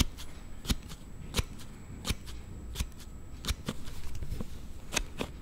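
A hand-held Note7 smartphone in a plastic slide case is slid back and forth by thumb, making an unusual sound. Nine sharp, bright clicks stand out at an uneven pace over a soft, continuous rubbing and low rumble.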